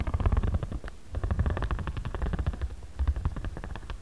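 A ridged jade roller is rubbed and rolled across the middle of a flat origami paper pad resting on a cutting mat. It makes a rapid, dense run of soft clicks over a deep, rumbling low drone. The sound comes in fluttering bursts with almost no bright top end.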